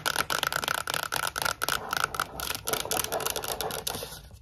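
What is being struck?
Cardboard composite tube with plastic lid.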